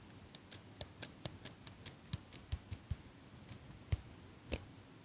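A small chrome metal eyelash curler is held sideways beside the mic while fingers and nails squeeze and click its metal handles. About sixteen short, dry clicks sound at an uneven pace, each a soft low knock with a bright metallic tick on top. The clicks stop at once with no ring, over a faint steady hiss.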